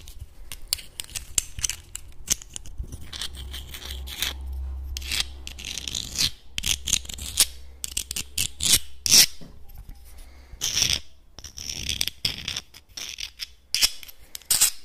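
Small, hard, hollow clam shells held in the hands are tapped and scratched with fingernails and clicked together. The result is a rapid, uneven stream of sharp, bright clicks and dry scratching with very short ring, over a faint steady low rumble.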